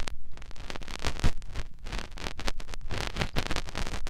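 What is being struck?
Silicone ear of a binaural microphone.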